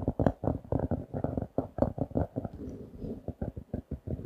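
A closed paper notebook with a printed pink cardboard cover reading "Super Quality Paper Products", a solid paper block, is held in both hands and tapped and scratched with the fingertips and nails. A rapid run of dull, low, muffled taps with almost no ring breaks midway into a soft, grainy scratching before the tapping returns.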